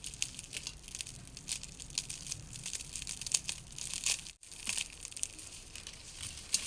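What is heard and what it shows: Fried red shallots are spread out and stirred to cool, giving a steady stream of dry, bright crunching and crinkling with many small sharp crackles. A brief near-silence breaks the sound just past the middle before the crunching resumes. The shallots are very crispy.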